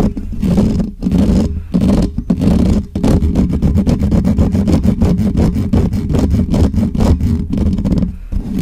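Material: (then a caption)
Metal mesh. Fingertips and nails of both hands rapidly scratch the hollow metal mesh grille of a black Blue Yeti USB microphone, close to the mic. The result is a dense, rumbling scrape with a low hum around 215 Hz, broken into fast repeated strokes. It surges in steady bursts with brief dips near one, two and three seconds.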